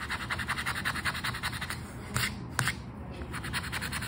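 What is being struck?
Paper scratch card scraped with a coin-like token.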